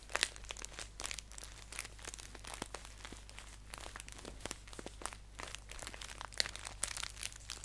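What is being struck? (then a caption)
Paper tea pouch. A green paper tea pouch is held upright on a lap while fingers crinkle and fold its top edge. The result is a continuous run of quiet, crisp, bright crackles and sharp snaps over a faint steady low hum.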